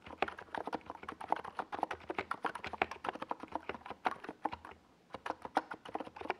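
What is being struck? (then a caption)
Plastic mechanical keyboard. Both hands type with fingertips on a NiZ Plum Atom 68, a compact 68-key mechanical keyboard with a hollow white plastic case and purple and yellow plastic Domikey Gas Attack SA keycaps, resting on a desk pad. A steady stream of short, hollow, clacky keystrokes centred around the midrange continues with only a brief pause just before the five-second mark. Each click stops almost instantly with no ring and very little low end.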